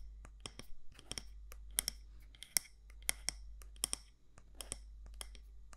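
Long nails tap and scratch the side walls of a medium matte black candle jar, likely glass or ceramic, with a gold lid, held in the hand. Fourteen sharp, bright clicks with almost no ring are mixed with soft scratching, over a steady low hum.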